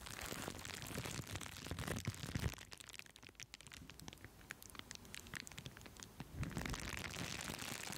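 A sheet of green plastic bubble wrap with air-filled bubbles, draped over a foam-covered microphone, is scratched and pressed with long acrylic nails and fingers. It makes dense, irregular crackling and crinkling with sharp bright ticks over a heavy low rumble of handling. The sound is loud at first, quiets to sparse clicks in the middle, then swells again near the end.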